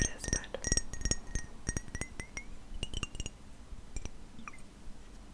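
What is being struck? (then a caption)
Glass perfume bottle. Fingernails tap a glass bottle of fig perfume in quick, irregular clicks. Each bright, short glassy clink carries a faint ringing tone near 2 kHz that drifts upward across the run, with higher shimmer.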